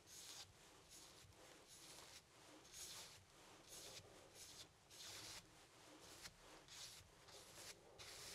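A flat paintbrush loaded with black paint sweeps and rubs across a medium stretched cotton canvas panel, thin fabric over a hollow wooden frame, resting on a wooden easel. The result is a quiet run of dry, scratchy brush strokes, mostly bright and high, with little low end, each swelling and fading back to back.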